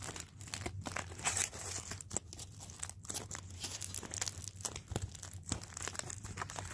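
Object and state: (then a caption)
Crumpled aluminium foil ball. A small, loosely crumpled ball of thin aluminium tin foil is held in both hands and squeezed, crinkled and rubbed by the fingers. The result is a dense, continuous stream of bright, crackling crinkles and sharp snaps over a faint steady low hum.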